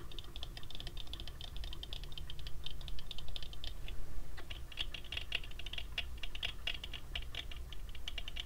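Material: Metal.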